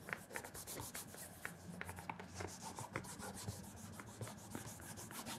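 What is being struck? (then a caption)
Leather loafer rubbed with a cloth. A black leather penny loafer with a wooden shoe tree rests on a counter while a cloth wrapped around the fingers rubs and polishes its leather toe cap. The sound is a quiet, continuous brushing and swishing with repeated short, bright strokes and soft scuffs.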